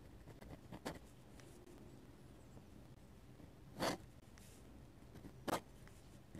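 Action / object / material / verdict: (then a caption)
scrape / metal-nib dip pen on sketchbook paper / paper / none. A metal-nib dip pen draws and scratches curved ink lines on the white paper page of an open sketchbook. Soft, quiet nib scratching runs throughout, broken by a few sharper, brighter scrapes, the two loudest near the middle and toward the end.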